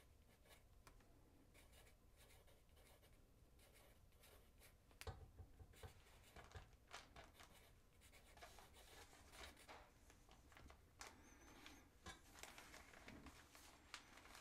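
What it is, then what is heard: Paper note pad being written on. A wooden pencil writes on a small paper note pad lying flat on a wooden desk, its graphite tip scratching across the paper. Faint, soft scratching for the first five seconds gives way to louder, quick strokes with bright, papery texture for the rest of the clip.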